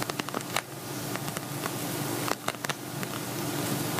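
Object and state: Glitter vinyl cosmetic bag.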